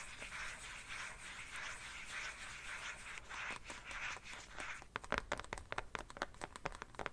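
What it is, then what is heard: Plastic phone case. Fingernails scratch across the back of an empty black plastic phone case held at an angle, making a steady, bright, hissing scrape for about five seconds. The scratching then gives way to a run of sharp, dry taps on the back of the case, each ending almost at once.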